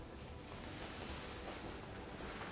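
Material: Nothing is struck.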